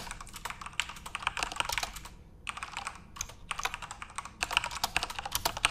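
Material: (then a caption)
Plastic. Fingertips type continuously on a backlit plastic Corsair mechanical RGB keyboard, producing rapid, bright clicking keystrokes with a brief pause just past the two-second mark. The clicks are short and sharp, with almost no ring and little low end.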